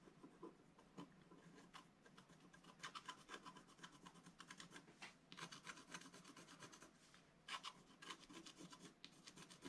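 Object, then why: Wax-coated scratch art paper scraped with a wooden stylus. A wooden stylus scrapes the black wax coating near the top right edge of a flat sheet of scratch art paper in scratching and rubbing strokes. The sound is a quiet, dry, raspy scraping with bright hissy bursts, a faint ring near 1 kHz, and a few louder strokes standing out.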